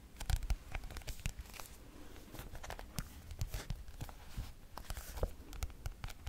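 Fingernails tap and click on the turquoise glossy cardboard cover of a thick paperback textbook held up in the air. Quick, dry, irregular clicks and light taps patter across the cover, each with a dull low thump and a faint crinkly scratch, dying away almost instantly.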